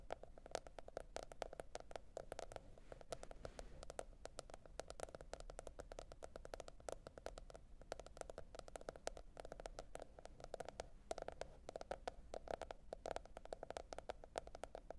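Long red nail tips tap rapidly and continuously on a teal printed cardboard hardcover notebook. The result is a dense stream of short, dry clicks with a hollow mid-range tone around 660 Hz, very quiet over a faint low hiss.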